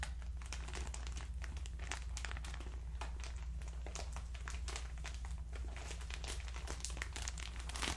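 A hand-sized, soft clear plastic bag full of cotton rounds is held in both hands and squeezed and crinkled with the fingertips. Dense, bright crinkles and crackles run continuously over a steady low hum. The level stays even throughout, with no pauses.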